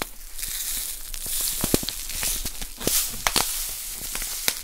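A small, full plastic bag of poppy seeds is crinkled and squeezed between fingers with long nails. A steady, bright crinkling hiss is broken by sharp, crackling pops and ticks throughout.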